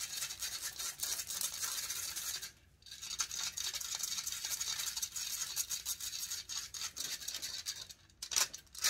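Long nails scratch and rub the hollow metal mesh grille of a large silver condenser microphone. The result is a dense, bright, hissing rasp with almost no low end. It is broken by a short silence near the 2.7-second mark and a brief dip before a few sharp, louder scrapes near the end.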